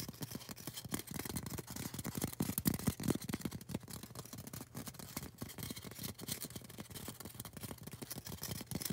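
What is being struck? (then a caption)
Polystyrene foam cone. Long orange acrylic nails scratch and tap on a tall, solid, white polystyrene foam cone. Quick, irregular, dry taps and rasping scratches come in a dense stream. The hits are short with almost no ring, weighted toward a low, hollow thud with a brighter scratchy edge.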